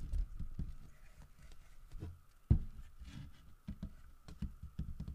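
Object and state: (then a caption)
Carved wooden bear statue. Fingertips and nails scratch and tap the carved underside and feet of a large, solid carved wooden bear figurine lying on its side. The result is a soft, low, dull rustle of short scratchy bursts that die out almost instantly, with one sharper knock midway. A faint steady tone runs underneath throughout.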